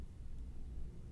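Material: Nothing is struck.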